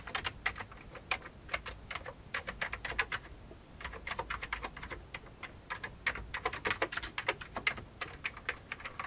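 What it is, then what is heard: Old plastic computer keyboard. Fingertips type on the keys of an old beige plastic computer keyboard. Rapid, irregular bright clicks come in dense bursts, with a short lull a little past the three-second mark. Each keystroke is sharp, with almost no ring or low-end thump.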